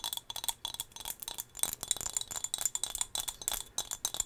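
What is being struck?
Small glass whale figurine.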